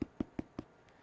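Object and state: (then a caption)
Hollow-sounding baked brown bread. A loaf of baked Irish brown bread (whole wheat) is turned over and tapped on the bottom, giving four quick, hollow knocks with a low, dry thud around 270 Hz. The hollow sound shows the bread is cooked.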